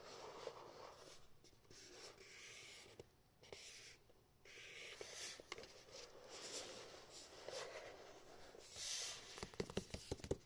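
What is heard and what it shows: Fingertips rub and tap across the printed surface of a small, hollow cardboard retail box for a pink Razer Quartz microphone as it is held in the hands and turned from front to back. Quiet, dry scratching and brushing with a bright, hissy edge is broken by soft, short taps. A cluster of sharper clicks comes near the end.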